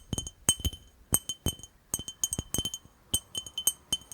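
A glass jar is tapped and clinked in a quick, irregular series of short, bright glassy clinks. Each clink has a steady high ring on top that dies away almost at once, with a light thud underneath.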